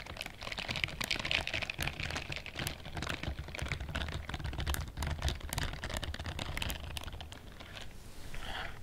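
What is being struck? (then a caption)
Silicone bristled scrubbing glove. Long fingernails and fingertips scratch and rub the bristles of a pale pink silicone scrubbing glove worn on the other hand, held in front of the chest. Dense, rapid, dry clicking and scratching ticks run continuously over a low rumble, with bright crackle on top. The clip closes with a softer, breathier rustle.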